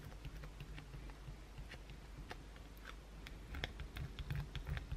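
A solid white bar of soap, resting on a towel and held, is scratched with long pointed blue acrylic nails, leaving flakes on the towel. Quiet, dry, rapid scratchy ticks with short crisp bright edges sit over a steady low hum. The scratching grows slightly louder and denser toward the end.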